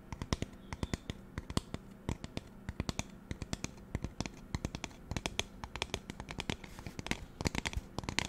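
A magenta plastic spray bottle is tapped and scratched with fingernails close to the microphone. Rapid, irregular dry clicks and taps come in dense clusters, each sharp and quickly damped, with a bright edge over a low thump and faint scratching between hits.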